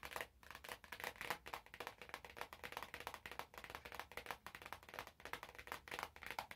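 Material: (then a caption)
Cellophane. Fingertips squeeze, tap and crinkle the cellophane wrap on an orange cardboard box. The result is a steady run of quiet, bright, crackling crinkles and soft taps in quick succession, each one short and dry with almost no ring.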